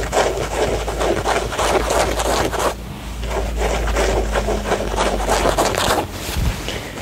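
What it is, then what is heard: Denim jeans being scratched. Fingertips and short nails scratch and rub along the leg of a pair of blue denim jeans, a soft, hollow cotton garment held up in the air. The result is a steady run of dry, raspy scraping strokes centered in the mid-range, with a low, constant hum underneath. There is a brief dip in the texture just before the middle of the clip.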